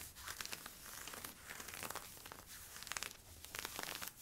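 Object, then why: Polyester-spandex stretch leggings. Fingers rub and scratch worn camo polyester-spandex stretch leggings at the side and waist, making a steady, bright, crinkly scratching with quick sharp strokes. The texture is continuous, with short bursts of louder scratching throughout.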